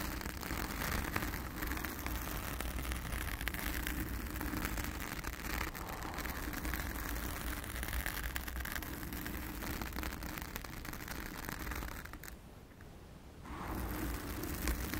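Long acrylic nails on both hands scratch and rub a soft, porous round blue foam windscreen covering a microphone. The result is a dense, continuous scratchy rustle with a heavy low rumble, briefly dropping quieter near the end before the scratching resumes.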